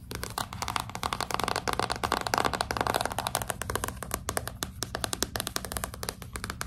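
A hardcover book with a glossy cardboard cover is held upright while long pink nails scratch and tap its front cover, with some gripping of the spine. The result is a dense stream of sharp, dry clicks and taps over a raspy scratching texture, busiest in the first half and thinning into separate quick taps toward the end.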